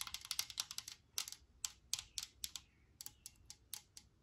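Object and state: Aerosol spray can.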